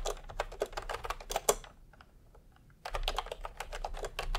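Fingertips of both hands type continuously on a full-size pastel plastic typewriter-style keyboard with round plastic keycaps in a hollow plastic case. Rapid, short, clacky mid-toned key strikes run for about two seconds, with one sharp louder click near the middle. After a brief near-silent pause with only a few faint taps, the steady typing resumes until the end.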